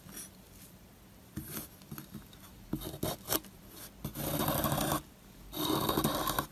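A solid, dry white bar of soap held in the hand is scraped with a wire loop carving tool, and its powdery surface crumbles away. Short, scattered scratches and clicks come first, followed by two longer, steady rasping scrapes with a bright, gritty texture.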